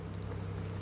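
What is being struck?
Nothing is struck.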